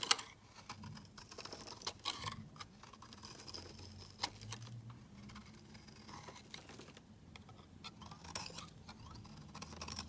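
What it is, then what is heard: Soap bar being scraped. A metal utility-knife blade scrapes flakes off a rectangular, solid cream soap bar with an embossed pattern, held in the hand. The result is quiet, dry, bright scratching in a steady stream of short strokes, with a few sharper scrapes standing out. A faint low hum sits underneath.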